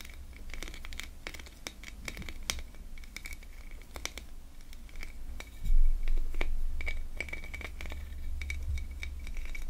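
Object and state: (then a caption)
Plastic ornament scratched along its ridges. Fingernails scratch and rub along the ridges of a small, hollow, ribbed gold metallic-finish Christmas tree ornament, likely plastic, held in both hands while other baubles sit untouched on the table. Quick, irregular clicky scratches with a bright edge repeat throughout over a low rumble, with a louder rubbing swell near the middle.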